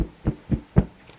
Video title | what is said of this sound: Easy steps to cut Fabric professionally! Amazing Results. | this one makes a hollow sound do you hear the difference